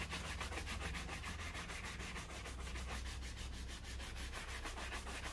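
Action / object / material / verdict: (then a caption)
scrape / leather shoe brushed with a bristle brush / leather / none. A black leather loafer, worn on a foot resting on a blue plastic stool, is brushed back and forth with a wooden-backed horsehair shoe brush. The bristles rub across the leather upper in quick, steady strokes, making a soft, continuous scratchy swishing with bright, airy texture over a low hum.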